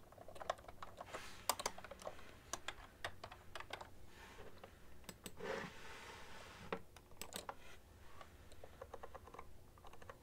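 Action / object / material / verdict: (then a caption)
tap / plastic computer keyboard / plastic / none. A full-size beige plastic ergonomic keyboard with hollow-housed keys is typed on continuously with fingertips and long nails. The result is a quiet stream of short, sharp, clacky taps with bright edges and almost no ring, over a low steady rumble. A couple of brief, soft, broader rustling washes pass between the keystrokes.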